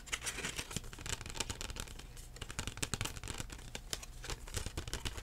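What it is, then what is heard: Plastic CD case. A thin plastic CD case with a printed cover is held in both hands and tapped and scratched with the fingertips. The result is a rapid, irregular stream of soft, dull taps and bright, scratchy clicks that die away almost instantly, over a faint, steady low hum.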